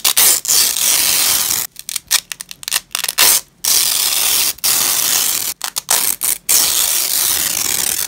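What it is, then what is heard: Nylon hook-and-loop strap being torn apart. Black-gloved hands peel joined purple nylon hook-and-loop strips apart on grey cloth, making a bright, raspy tearing sound. The rips come in long, steady pulls broken by a cluster of short, quick tugs with brief silent gaps between them.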